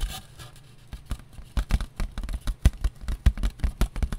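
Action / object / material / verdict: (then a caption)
tap / disposable foam plate / foam / none. Long nails tap on a thin, light, round white disposable foam plate with a ridged rim, held in the hands. After a quiet, faintly scratchy first second, an irregular run of short, dull, muffled taps follows, heavy in the low end with almost no ring.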